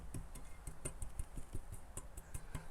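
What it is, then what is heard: Secured brass instrument brace, no rattle. Light taps on a brass band instrument whose broken brace has been tied up with a bread-bag twist tie, held close to the microphone. Each tap gives a short, dull, low thump that dies away almost at once, with no metal-on-metal rattle or zing. The brace is secured: only a vibration comes through, with no rubbing.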